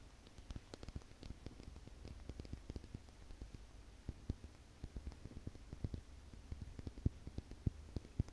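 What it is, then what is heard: Glass owl figurine tapped with nails. A small solid faceted crystal glass owl figurine with rhinestone eyes is held in the fingers and tapped and scratched with long nails. Many quiet, sharp clicks, dull and low-heavy, sound against a soft scratching rustle, with a few stronger taps near the end.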